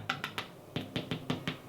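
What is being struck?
Baked cinnamon raisin bread loaf.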